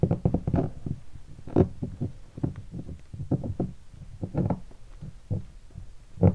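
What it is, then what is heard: Guitar hard case, hollow. A fingertip taps the lower body of a hollow guitar hard case covered in black leatherette and stickers. It makes a quick, uneven series of dull, low thumps centered around 100 Hz, each dying away almost at once with no bright ring.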